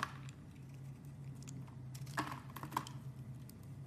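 A utility knife blade scrapes and carves the embossed face of an oval, solid blue marbled soap bar held in a hand with long dark-painted nails. Soft, irregular scraping and crisp little ticks sound over a steady low hum, with a few sharper bright clicks standing out near the start and toward the end.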